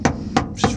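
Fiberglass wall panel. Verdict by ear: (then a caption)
Solid. Three hammer taps on a thin section of a fiberglass trunk wall panel that has only a couple of layers on it. Each tap is a short, dry knock with a mid-pitched tone that dies away almost at once. The section sounds fairly solid for so few layers, with more layers still to be added.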